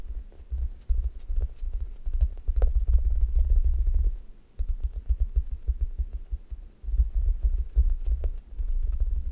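Long nails poke and scratch the top of a brown, crust-textured foam squishy toast toy made of solid soft foam, leaving dents in it. The result is a dense run of muffled, low thumping and soft scratching that pauses briefly about halfway through and again shortly after before continuing.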